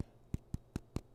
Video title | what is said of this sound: Healthy Almond Bread with B Vitamins | you tap on it they sound hollow so that's how you know they're done